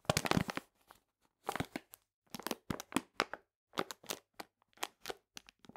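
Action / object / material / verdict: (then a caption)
scrape / paper bag of sugar / paper / none. Long painted nails scratch and rub a full paper cane sugar bag resting on a table. Dry, crackly crinkling comes in short, irregular bursts separated by brief silences, each with a sharp, bright edge and almost no ring.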